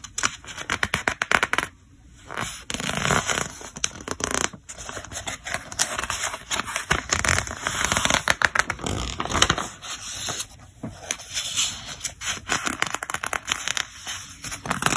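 Fingertips turn the pages of a thick paper catalog at its yellow tab edge, producing dense, crackly scratching and rustling with a bright, papery hiss. Quick flicks and brief pauses alternate throughout, with each page sound stopping almost instantly.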